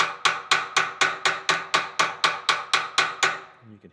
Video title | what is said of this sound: How to replace trailer bearings - Don't get stuck on the road with a bearing failure! | YOU CAN HEAR THE CHANGE OF WHEN IT ALL GOT SEATED, the change in how it sounded.